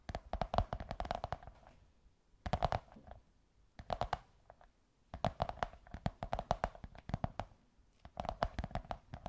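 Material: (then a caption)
Cardboard. Long white nails scratch and tap a beige kraft cardboard tube, producing quick, dry taps with a hollow, mid-pitched resonance. The taps come in rapid bursts separated by brief pauses, each one short and quiet with almost no ring.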